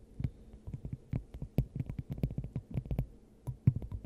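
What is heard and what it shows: A clear, hand-sized hollow glass dome fitted over the top of a microphone is tapped and scratched with long acrylic nails. The result is a quick, irregular series of soft, muffled thumps with a low hollow body, each dying away almost at once, threaded with faint bright clicks from the nail tips.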